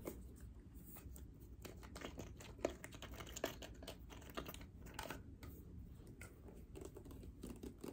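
Long painted nails tap and scratch quickly on the orange pump top and sides of a clear plastic bottle partly filled with liquid. The result is a fast, irregular run of soft, dry clicks and scrapes with very little ring, over a low, steady background rumble.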